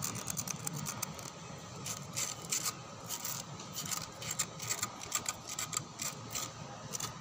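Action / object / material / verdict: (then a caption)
scrape / rough concrete lattice wall / concrete / none. Fingertips and nails scratch across a white, rough concrete lattice wall outdoors. The result is a steady run of dry, bright scraping strokes with quick bursts of grit that stop almost at once. A faint low hum sits underneath.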